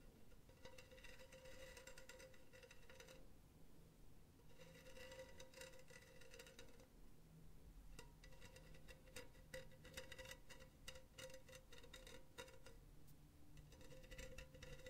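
Long teal nails tap and scratch across the surface of a hollow, empty silver wire-mesh pen holder lying on its side. Bursts of quick, scratchy rattling alternate with short pauses, carrying a steady metallic ring near 523 Hz with bright overtones. The taps come fast and irregularly over a low, quiet background.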